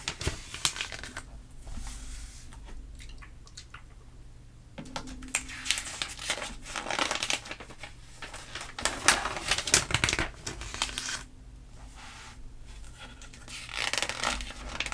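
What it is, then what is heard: Glossy paper magazine pages. Hands with long nails slide across the pages of an open glossy paper catalog magazine, then lift and turn them. Crisp, bright crinkling and rustling bursts rise and fall throughout, with a faint steady low hum underneath.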